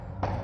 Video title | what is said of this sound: चलिए घूम आते हैं अपना पूरा फुल साइड visit Full site tiles work | झाड़ू के पीछे से ठोक ठोक के दिखा दे रहे हैं आपको कि हम लोग काम में कोई भी साउंड फाउंड कुछ नहीं मिलता है